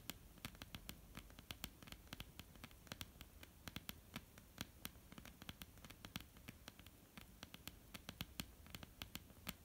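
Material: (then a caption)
Wood. Long polished nails of both hands tap and scratch across a flat, solid, dark wooden tabletop. Around fifty quick, dry clicks ring out with no ring-out, spread unevenly over a soft, continuous scratching rustle.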